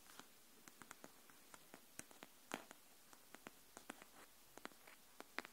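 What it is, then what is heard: Cardboard hardcover notebook. Long nails tap and scratch along the spine and edge of a pink cardboard hardcover paper notebook held edge-up. About 21 quiet, dry, bright clicks come at irregular intervals, with a slightly longer scratch near the middle. Each tap dies away almost instantly over a faint background hiss.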